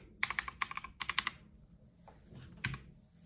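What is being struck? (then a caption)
Plastic mechanical keyboard. Black-gloved fingertips type on a white Logitech G715 tenkeyless mechanical gaming keyboard with plastic keycaps, resting on a dark surface with a wrist rest in front. A quick run of bright, crisp plastic clacks with a tone around 2 kHz comes first. After a brief pause, one more firm keypress follows, and each stroke stops short with almost no ring.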